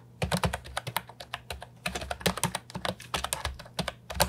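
Both hands type with their fingertips on an Ajazz 308I, a compact hollow plastic keyboard with round typewriter-style retro keycaps. It makes a quick, uneven run of short, clacky keystrokes with bright tops and a hollow body around 590 Hz. Each one dies away almost at once over a faint, steady low hum.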